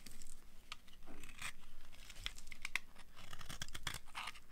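A utility cutter blade scrapes and carves crumbly shavings off a hand-sized solid bar of dry yellow soap held in the hand. The result is a steady run of dry, gritty scraping and crackling, with short, bright crunchy snaps as pieces break away.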